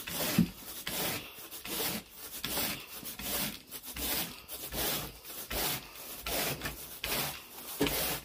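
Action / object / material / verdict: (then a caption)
scrape / pile carpet raked with a carpet groomer / carpet pile / none. A carpet groomer rake with a long wooden handle and a teal plastic head is pulled through wall-to-wall grey pile carpet on a bedroom floor in repeated raking strokes. Each stroke makes a bright, brushy rasping scrape, repeating at an uneven pace of roughly one to two strokes per second.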